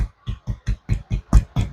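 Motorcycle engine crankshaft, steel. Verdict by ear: Worn.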